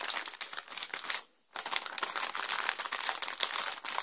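A clear, thin plastic bag full of small plastic Lego pieces from the Batman Movie set 70906, The Joker Notorious Lowrider, is pressed flat, then lifted and squeezed with fingertips and palms. It makes dense, bright, high crinkling with a brief pause of near silence just before the middle, then steady crinkling to the end.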